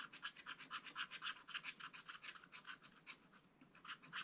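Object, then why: Wax-coated scratch-art card scraped with a wooden stylus. A wooden stylus scratches quick, short strokes near the bottom of a flat, black-coated card in a spiral-bound scratch-art pad. The result is a rapid series of dry, bright, raspy scrapes with almost no low end. The strokes briefly thin out near the three-and-a-half-second mark before picking up again.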